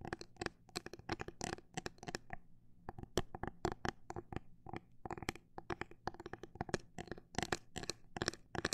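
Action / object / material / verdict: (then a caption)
tap / plastic phone case with liquid glitter inside / plastic / none. Long black pointed nails tap quickly on the edges and face of a small, thin, rigid, hollow-bodied clear plastic phone case, with liquid glitter inside and a grip on the back, held in both hands. The result is a rapid, irregular string of sharp, dry clicks that die away almost instantly, centered around 363 Hz with bright tops. A faint low hum sits underneath.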